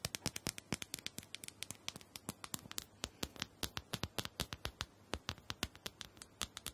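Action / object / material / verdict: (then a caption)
tap / small plastic dome massager tapped with fingernails / plastic / none. Long nails scratch and tap the sides and top of a small, round, purple plastic dome massager, likely hollow. Dozens of quick, dry, bright clicks and taps come in an uneven, rapid patter, each dying away almost instantly over a faint low hum.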